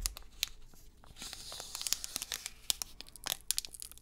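A metallized plastic foil wrapper of a trading card pack is held close up in both hands while fingertips crinkle and tear it open. Sharp, bright crackles and snaps sit over a soft, continuous rustle.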